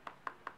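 A softer leather traveler's notebook cover is tapped three times, each tap a short, dull knock centered in the low-mid range with almost no ring. It sounds duller than a stiffer mango leather cover.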